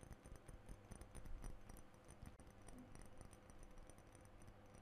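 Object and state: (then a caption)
Glass perfume bottle. A blue glass perfume bottle with a metal spray top, held in both hands, is tapped by fingernails on its glass body and cap. The result is a quiet, continuous run of soft, quick clicks and taps that die away almost instantly, with a low, dull body and faint bright ticks above.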